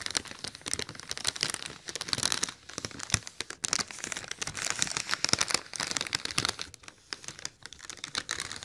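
A large, hollow, silver inflated mylar foil letter balloon is scratched and tapped on its wrinkled surface with fingertips and nails. Dense, bright crinkling and crackling fills the clip with many quick, sharp taps and scratches. The sound is mostly high-pitched with very little low end, and it swells and dips in bursts throughout.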